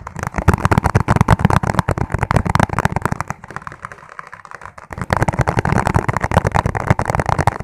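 Fingertips tap fast on a clear, ribbed plastic food container that is hollow and empty. The result is a rapid, dense run of short, dry, hollow taps with a deep low thump, softening briefly in the middle before picking up again to the end.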